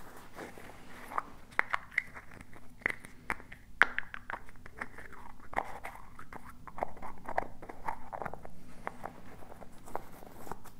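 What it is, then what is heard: Small plastic jar. Fingertips and nails tap and scratch a small, hollow blue and teal plastic tub with a lid and a printed label. Quick, dry, clicky taps and bright scratching ticks come in an irregular patter over a low, steady background hum. Each tap stops at once with no ring.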